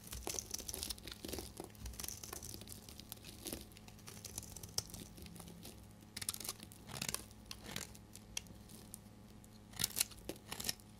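A metal knife scrapes thin curls off the cut face of a dry, solid, hand-sized bar soap with a cream interior and pink rim, held in one hand. The scraping comes as a dense run of dry, crisp, crinkling rasps, mostly bright and high. Louder bursts stand out along the way, with very short decays.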